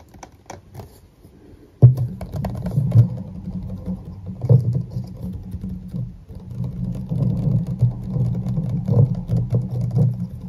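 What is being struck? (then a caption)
Plastic bottle partly filled with liquid. A medium clear plastic bottle of micellar water with a white cap, partly full of liquid, is tapped and scratched with fingertips and short nails. After a few faint taps, a sharp tap at about two seconds starts steady, dense tapping and scratching. It produces dull, low, hollow thuds with short, quickly fading ring.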